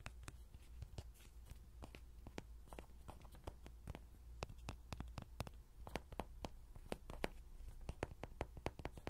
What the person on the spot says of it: 0:00 ~ 05:26 로디장난감 두드리는 소리 Lody toy tapping sound